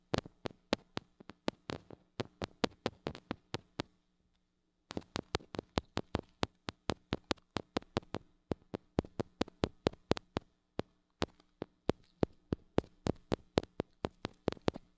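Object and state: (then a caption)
Metal mini microphone tapped with fingernails. Long acrylic nails tap and scratch the metal mesh grille of a small gold-colored mini microphone with a metal body and hollow head, held in one hand. Dozens of quick, dry, clicking taps land in a brisk uneven rhythm, each dying away almost instantly, over a faint steady low hum. There is a short silent pause around the four-second mark before the tapping resumes.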